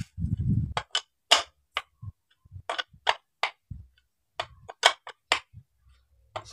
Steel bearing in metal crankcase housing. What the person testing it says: ada bunyinya. Karena ini menandakan dia presisi